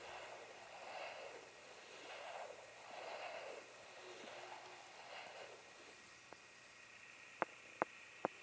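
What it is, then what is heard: Light wooden blocks. A pair of solid, pale, unfinished, hand-sized wooden blocks is scratched and tapped with fingertips and nails. Soft, breathy scratching swells rise and fall for about six seconds, then three sharp, dry taps with almost no ring close the clip.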